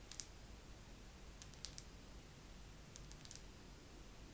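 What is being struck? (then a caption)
Wax pillar candle. A wax pillar candle is tapped slowly with long nails. Soft, bright clicks come in small, irregular clusters with short gaps between them, over a quiet, steady low background hiss. Each tap is crisp and dies away almost at once.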